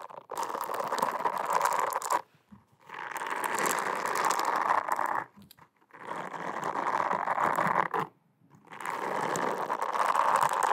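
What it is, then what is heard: Silicone face scrubber scratched with nails. Long acrylic nails scratch and rub a solid, flat, teal round silicone cleansing pad close to the microphone. Four dense bursts of fast, crackly scraping centered around 1 kHz are separated by short pauses.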